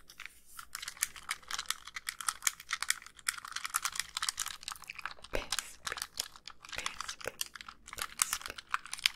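Long pink nails tap quickly on the white plastic shell and screen edges of a hollow, hand-sized handheld game console. Dense, dry, bright clicks run without pause, each dying almost instantly, with faint low rumble underneath.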